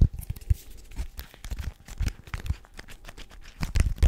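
Fingertips tap quickly on a small, hollow, rigid white paperboard box, making a rapid, irregular patter of soft, dull thuds. The taps are low and boomy with faint papery scratches on top, and each one dies away almost at once.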